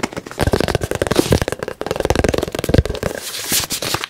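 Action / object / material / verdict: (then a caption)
tap / soft plastic squeeze tube / soft plastic / none. A partly full white soft plastic squeeze lotion tube with a green cap is rapidly tapped with the fingertips and nails close to the mic. The result is a dense, fast run of short, dry, crackly taps with a soft low thump beneath them and no ring after each strike.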